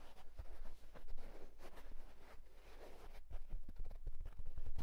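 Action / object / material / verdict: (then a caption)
scrape / wool tweed fedora hat / wool tweed / none. The crown of a hollow houndstooth wool tweed fedora hat is scratched and tapped rapidly with fingertips and short nails. The result is a quiet, continuous flurry of dry, papery scratching with soft, dull low thumps from the taps throughout.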